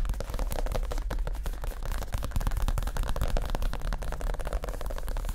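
Both hands tap fast with their fingertips on a soft, stuffed, padded white leather (possibly faux) chair cushion. The result is a rapid, continuous patter of dull, low, muffled thumps with almost no brightness, each one dying away quickly.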